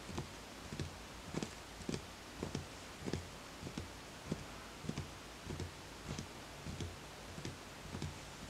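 Fingertips tap the outer side of a small, empty, hollow wooden bowl with bamboo grain on a footed base, making 13 soft, dull knocks at an unhurried, uneven pace. Each tap has a low, woody body and a brief bright click, then fades almost at once over a faint steady hiss.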